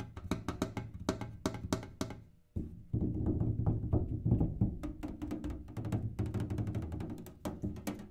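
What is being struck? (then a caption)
Metal kerosene can. A kerosene can is tapped in quick, uneven bursts of light strikes, each with a sharp bright click over a hollow, low boomy body. After a brief pause partway through, the tapping returns denser and fuller, the taps blending into a continuous resonant rumble with only short ring after each hit.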